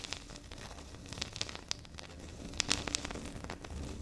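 Long pink nails of both hands tap and scratch across a flat, solid, speckled granite-like stone tabletop. Quick, bright, dry clicks with almost no ring stand out over a steady, soft scratching rustle that grows slightly louder in the second half.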